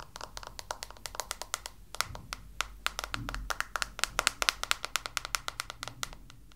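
A small pink plastic detangling hairbrush is held in one hand while long blue-painted nails tap its bristles and the back of its hollow plastic head. The result is a quick, uneven run of sharp, dry clicks with bright, high content and a ring near 1.4 kHz, each dying away almost instantly over a faint low rumble.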